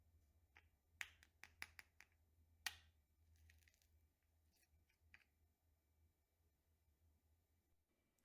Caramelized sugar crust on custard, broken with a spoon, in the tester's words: hearing the crack of it where it kind of sounds like glass